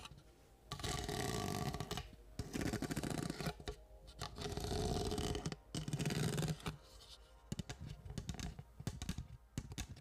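Orange disposable plastic party cups, apparently a stack, are held hollow and empty and upside down near the microphone while long acrylic nails tap and scratch them. Long stretches of dense, hollow-sounding scratching alternate with brief quiet gaps. Toward the end the sound breaks into quick, irregular taps.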